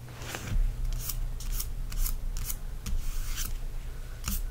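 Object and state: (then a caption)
Paperback book cover, rubbed and tapped. Fingertips rub and tap the glossy back cover of a softcover paperback book, first held and then lying flat on a blanket. Repeated short, bright, crisp swishes and scratchy taps come through over a steady low hum.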